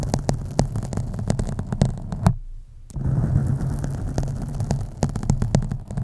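Fingernails scratch the sides of a black foam microphone windscreen, making a deep, muffled rumbling scrape dense with sharp crackling ticks. The sound briefly drops to a quieter hush as the hands lift off for about half a second. The scratching then resumes.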